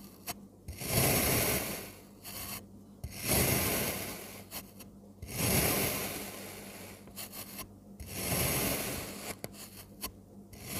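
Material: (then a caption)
Kinetic sand. A metal crinkle-cut blade slices a solid blue kinetic sand dome into wavy pieces. Each cut makes a gritty, crumbling scrape that swells and fades, with short quiet pauses between the four long strokes.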